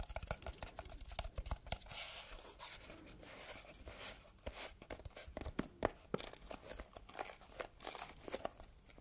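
A small, closed red textured cardboard gift box with a ribbon bow is scratched and tapped with long red nails. The result is a dense run of dry scratching and crisp, quick taps with bright clicks and papery crinkling, each tap cutting off almost instantly.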